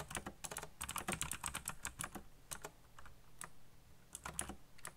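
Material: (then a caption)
Plastic. Fingertips type quickly on a backlit black plastic mechanical keyboard, producing rapid bursts of short, bright key clicks over a low thock. The typing slows to scattered taps midway, then picks up again in a final flurry.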